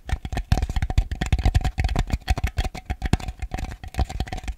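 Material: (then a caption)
Plastic. A small, ribbed white plastic bowl, hollow and empty and held upside down, is tapped and scratched on the outside with fingernails. A rapid, uneven run of short, dull, hollow taps is heard, each dying away almost at once. The taps are heavy in low thump, with a faint steady tone in the midrange and light scratchy clicks between them.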